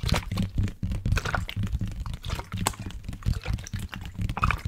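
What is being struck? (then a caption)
Plastic water bottle with liquid. A water bottle with liquid inside is tapped and handled, producing dull, low taps mixed with sloshing and gurgling liquid. The tapping comes in quick, irregular bursts throughout.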